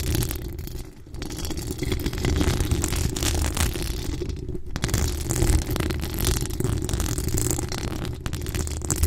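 Long acrylic nails scratch steadily across the hollow metal mesh grille of a large condenser USB microphone with a pink rhinestone-decorated body. The result is a dense, continuous rasping and rumbling texture, heavy in the low end with faint bright scratchy detail. It briefly thins out near 1, 4.5 and 8 seconds.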